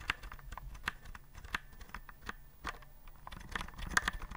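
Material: Plastic.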